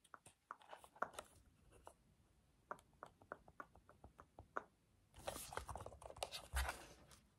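A black plastic TV remote with rubber buttons, held close, has its buttons pressed and clicked with the fingertips. Quiet, short, dry clicks come in an irregular patter for the first five seconds. Then a denser, louder stretch of overlapping clicks and crinkly handling noise follows, with bright hiss and a low thump near the end.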